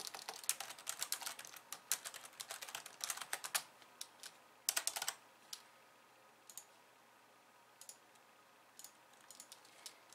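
Long nails and fingertips of both hands tap quickly on a pink plastic slim keyboard with white keys. A dense run of bright, sharp clicks fills the first few seconds, then a short burst of typing is followed by scattered single taps over a quiet background.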